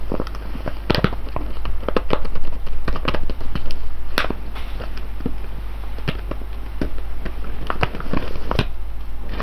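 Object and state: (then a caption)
Foil bag full of coffee beans. Fingertips and nails scratch and tap the top of a full, sealed silver foil coffee bag of whole beans lying on cloth. Quick, irregular crinkly ticks and scrapes sound over a steady low hum.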